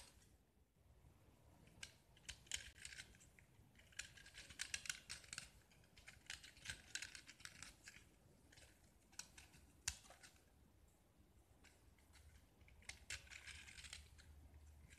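A metal utility knife blade scrapes across a small solid pink-painted gypsum block with a diamond-pattern face. Quiet, dry, bright scratching comes in short bursts with crisp clicks and faint gaps between strokes. The sound is thin and high, with little low end and no ring after each stroke.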